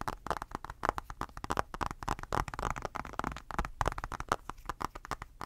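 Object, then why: Glass tablet screen. Fingertips and short nails tap and scratch rapidly on the smudged glass screen of an iPad in a blue rubber case, held close. The result is a quick, uneven series of short, dry clicks with almost no ring, mixed with soft scratchy friction.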